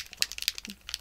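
A bottle of Nouveau "sparkling mimosa" spray paint is shaken, and the small mixing ball inside rattles with quick, bright, high-pitched clicks. The clicking shows the bottle holds a ball and that the paint is being mixed.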